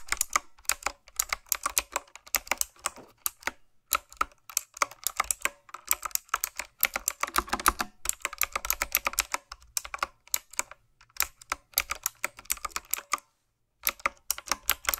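Fingertips with long nails type on a retro, typewriter-style mechanical keyboard with round plastic keycaps. Rapid bursts of sharp, bright clicks come in quick runs with short gaps, including a brief silence near the end. Each click is crisp and dies away almost instantly.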